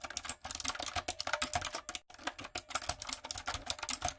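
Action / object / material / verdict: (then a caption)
tap / plastic mechanical keyboard with round keycaps / plastic / none. Long coffin nails and fingertips type on a backlit, typewriter-style mechanical keyboard with round retro plastic keycaps and a hollow plastic body. About two dozen sharp, bright, clacky keystrokes come in quick runs, with a brief pause near the middle. Each click dies away almost instantly.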